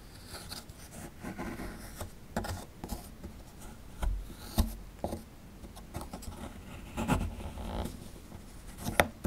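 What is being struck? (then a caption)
Plaster dig block scraped with a metal pick. A metal pick scrapes and picks at plaster inside the dug cavity of a solid plaster fossil dig block, near the exposed bones. Dry, gritty scratches alternate with sharp, brief clicks that carry bright edges and die away instantly.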